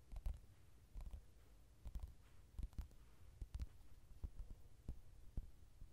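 Fingertips tap and scratch the glossy card cover of a softcover mandala coloring book lying flat. About thirteen soft, dull taps land at uneven intervals over a faint scratchy hiss. The taps are quiet, low and thuddy, and each dies away almost at once.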